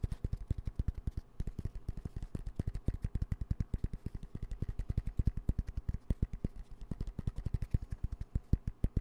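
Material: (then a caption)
Nylon fabric. A dark green padded nylon fabric pencil pouch with yellow zipper trim is held upright near the mic and rapidly tapped with fingertips and nails. About 76 quick, short taps land in a steady stream, each a soft, dull low thump with a faint crisp edge and almost no ring.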